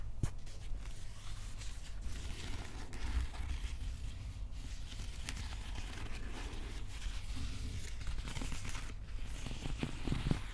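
Fingers scratch and tap the upper wrapped plastic handle near the head of a Stormbreaker replica plastic prop axe. A continuous dry, crinkly scratching runs over a steady low rumble, broken by brief soft taps that stop almost instantly.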